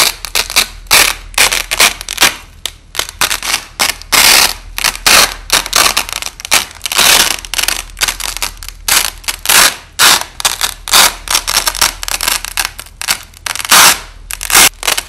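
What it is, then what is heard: Nylon hook-and-loop tape being pulled apart. A wide, thin white nylon hook-and-loop (Velcro) strip, lying flat under red lighting, has its two halves joined and pulled apart by hand in slow rips, with the audio slowed down. The sound is a series of bright, crackling tearing bursts, mostly high-pitched with almost no low end. Each rip fades quickly before the next one starts.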